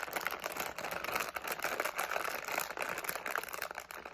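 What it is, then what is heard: Plastic candy bag crinkled and shaken. A medium, flexible plastic SweeTARTS candy pouch with candies inside is held in both hands while the fingertips crinkle, squeeze and shake it. The result is a dense, continuous run of sharp, bright crackles and rustles with almost no low end. The crinkling stays busy and steady for the whole four seconds.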